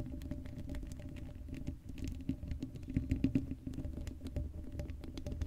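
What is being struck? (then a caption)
Woven metal mesh microphone grille scratched with long nails. Long blue acrylic nails on both hands scratch across the hollow black woven metal mesh grille of a Blue Yeti microphone head with no foam cover. The result is a dense, continuous patter of rapid scratchy clicks and taps over a heavy low rumble, with a steady hum-like tone and brief louder bursts in the middle.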